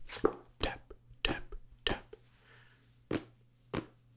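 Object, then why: Paperback book with card cover. Fingertips tap six times on the card cover and page edges of a small, solid paperback book held in the hand. Each tap is a short, dull knock that dies away almost at once, with uneven gaps between them. A steady low hum runs underneath throughout.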